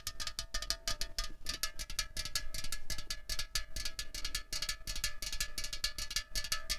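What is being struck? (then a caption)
Aluminium drink can. Long fingernails rapidly tap and scratch a hollow, slim 0.33 L Coca-Cola Cherry aluminium can resting on a tablecloth. The result is a dense stream of quick, dry clicks and scrapes with a bright, high metallic tone that dies away almost instantly, over a faint low rumble.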